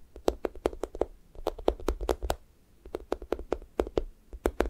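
Fingertips and nails tap and poke the pink sticky top of a thick strawberry toast squishy toy made of soft, solid foam. Quick, dry, slightly tacky taps with a muffled mid-range tone come in three bursts separated by short pauses. Each tap stops almost instantly, with no ring.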